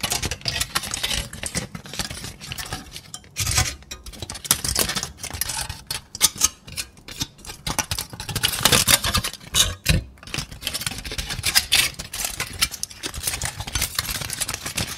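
A hand-sized, loose, hollow and light ball of crumpled aluminum foil is held in both hands and tapped, squeezed and crinkled with fingertips and nails. The result is a dense, bright crackling and rustling with quick, sharp crinkles that come in uneven bursts and brief pauses. Underneath runs a faint low rumble.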